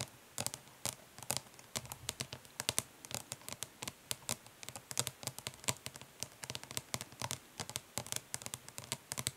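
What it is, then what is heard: Plastic eyeshadow palette. Long fingernails tap quickly on the printed lid of a closed, flat, hollow plastic eyeshadow palette, with some light scratching. Many sharp, bright clicks come in a fast, uneven stream, each dying away almost instantly. A faint low thump from the hollow case sits under the clicks.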